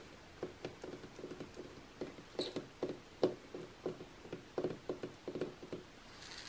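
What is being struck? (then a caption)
Glossy coated-paper magazine. Long nails and fingertips tap and scratch across the same page spread of an open glossy magazine lying flat, its thin coated paper giving quick dry clicks. The irregular taps have a faint papery tone and are mixed with short scratchy brushes, over a quiet steady hiss, and each sound dies away almost instantly.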